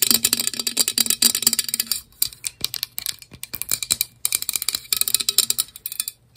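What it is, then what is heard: Plastic water bottle. Long acrylic nails tap rapidly around the body and base of a hand-sized, hollow white plastic Cirkul-style water bottle with a blue lid and grey bottom. The taps are bright, crisp clicks with almost no ring, coming in quick bursts with short pauses near two and four seconds. A faint low hum runs underneath.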